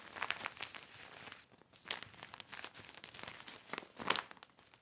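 A black heavy plastic sheet lying on a blanket is rubbed by hand with a yellow cloth. It gives bright, crisp crinkles in irregular bursts, louder swells near the start, middle and end, with quieter rustling between and almost no low end.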